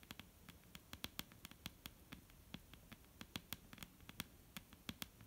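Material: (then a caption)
Wood. Long painted fingernails on both hands tap a solid, dark brown wooden table top in a quick, irregular patter of about 28 sharp, dry clicks. Each tap is bright and snappy with a faint low body near 200 Hz and dies away almost instantly over a soft, quiet background.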